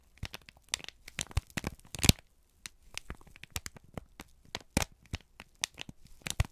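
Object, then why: Kraft paper sheet. A folded, crinkled brown kraft paper sheet is held in both hands and squeezed and crumpled with the fingertips. It makes a rapid series of sharp, dry crackles and crinkles with bright, high edges, separated by a brief quiet gap after the loudest snap near the middle. Each crackle stops almost instantly, with no ring.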